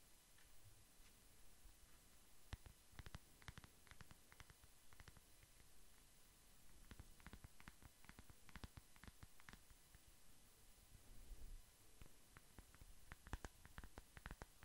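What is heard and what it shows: A hand-sized flat smartphone in a black matte plastic case is held up close to the microphone and tapped and scratched with the fingertips and short nails. Quiet, low rumbling scratches run under scattered, sharp, bright clicks that come in loose clusters and die away almost instantly.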